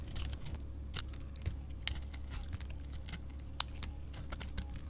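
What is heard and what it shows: A chunky solid bar of soap with a glitter coating, held in a hand with painted nails, is shaved with a utility knife blade. Quiet, crisp scraping and crackly, crumbly shaving sounds come in short bright bursts, with a few sharper clicks, over a steady low hum.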